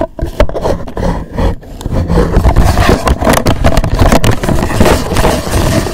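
Fingertips and nails rub and scratch the surface and edges of a hollow black rigid cardboard gift box with a gold logo. A dense, rough scraping and rustling runs throughout, heavy in the low end, with quick scratchy bursts and brief dips between strokes.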